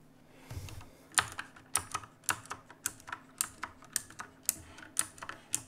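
Fingertips type and press keys on a black backlit mechanical keyboard with plastic keycaps, making sharp, bright clicks at an uneven pace. Each key strike is short and crisp, with little ring and a faint low background hum underneath.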